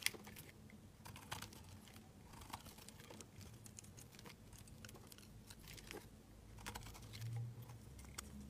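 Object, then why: Bar of soap scraped with a knife blade. A utility knife blade scrapes crumbly flakes off a solid white bar of laundry soap held in the hand. The result is a quiet series of short, dry, bright scratches and crackles over a steady low hum.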